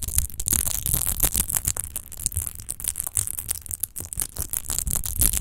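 Long nails rapidly scratch a large, hollow, clear glass rose-shaped wine bottle with a rose-textured base, apparently empty. The result is a dense, irregular stream of fast scratchy strokes with bright hiss and a low, hollow rumble underneath, and no ringing tail.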